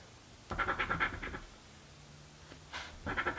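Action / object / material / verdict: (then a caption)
scrape / coin scratching a thin card scratch-off ticket / card / none. A coin held between the fingers scratches fast at the latex coating of a thin card crossword scratch-off lottery ticket lying flat on a table. Quick bursts of dry, bright rasping strokes come in two clusters, separated by a short quiet pause.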